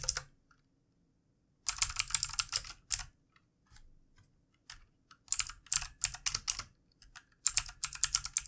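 Fingertips of both hands type on a full-size backlit plastic mechanical computer keyboard with plastic keycaps, tapping keys. Bursts of rapid, bright, crisp clicks come in clusters separated by short silences, each keystroke sharp and dry with almost no ring.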